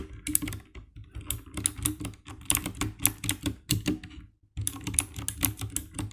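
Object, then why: Plastic mechanical keyboard. A compact 60% black plastic mechanical keyboard with RGB backlight is typed on rapidly by fingertips tapping the keycaps. Quick, sharp clicky key presses with bright, crisp tops and a low thock beneath run in a steady stream, broken by a brief pause near the end before the typing resumes.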